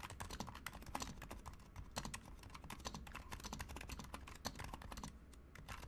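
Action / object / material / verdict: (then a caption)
tap / compact plastic mechanical keyboard / plastic / none. A Razer Huntsman Mini, a compact 60% mechanical keyboard with a white plastic case, white plastic keycaps, lubed silent switches and a colour-changing backlight, is typed on quickly with the fingertips of both hands. The result is a dense, steady stream of short, muted clacks with a low thocky body and a brief bright tick on each keystroke.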